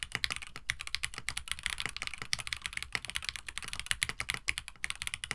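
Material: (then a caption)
Plastic. Fingertips of both hands type continuously on a compact 65% KBD67 Lite mechanical keyboard with Gateron CJ switches, an FR4 plate, a white plastic case, and blue and white PBT keycaps. About 35 quick, bright keystrokes clack in an uneven stream, each dying away almost at once with little low-end thump.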